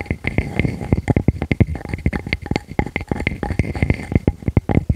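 Long nails on both hands scratch rapidly across the flat face of a solid, palm-sized round wood slice with visible rings. The result is a fast, dense run of short, dry scratching strokes with a low, thumpy body and a faint steady tone near 2 kHz. Each stroke dies away almost at once.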